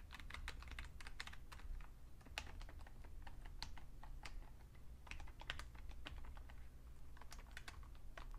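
Fingertips tap the keys and numpad of a vintage beige Fujitsu Siemens full-size plastic computer keyboard with a hollow case, in a steady stream of typing. The keystrokes are short, bright clicks that die away almost at once, over a constant low hum.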